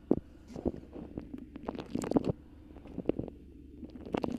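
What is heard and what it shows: A colorful beeswax-coated cotton food wrap bunched around a microphone is squeezed and scratched with long pink acrylic nails. Soft crinkling and waxy crackles come in irregular bursts, with sharp scratchy clicks and brief squishy rustles over a low, steady hum.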